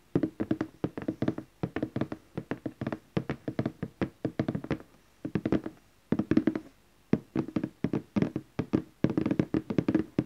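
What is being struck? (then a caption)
Cardboard box lid. Fingertips and nails of both hands tap the lid of a large glossy orange cardboard gift box lying flat. Quick bursts of hollow, papery taps centered around 316 Hz roll in clusters with brief pauses between them. Each tap dies away almost instantly, with no ringing.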